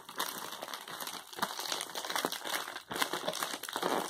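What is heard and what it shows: An Amazon Prime poly bubble mailer, flat and closed with its contents inside, is handled with the fingertips and crinkled between both hands. The result is a continuous, dense plastic crinkling with quick crackles that stays bright and airy, with almost no low end. The sound dips briefly just before the three-second mark.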